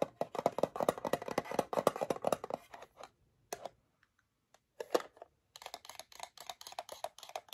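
Long acrylic nails tap and scratch the lid and sides of a small, flat, rectangular metal tin of PYM Original Mood Chews, held in one hand; the tin is closed, has a printed yellow and white label, and is probably partly full. Quick, dry clicking taps with a faint tinny note rattle along in a dense run for about three seconds. A near-quiet gap with a few lone ticks follows, then softer, brighter tapping and scratching resumes to the end.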